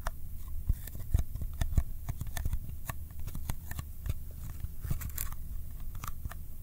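A small, empty-looking Kodak ColorPlus cardboard film box is held up in one hand and tapped with the fingertips of the other hand. The result is a steady run of quick, dry, sticky-sounding finger taps, each a short click with a soft low thud and a bright tick that dies away almost instantly.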